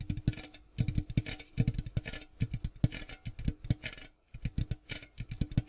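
Fingers tap quickly and repeatedly on a cardboard popcorn box, producing soft, low, hollow thuds that come in uneven bursts. A brief pause breaks the sequence before the tapping resumes.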